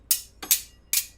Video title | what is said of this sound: Doug Conn Live! Stage Magic w/Q&A | You see, when I tap the rings together, it creates this auditory illusion of the rings linking together.